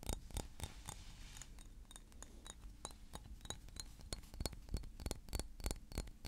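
A small blue glass perfume bottle with a silver cap, held in the hands, is tapped with fingernails in quick, irregular bursts. Each tap is a short, sharp click with a faint high glassy ping over a low, quiet background hum.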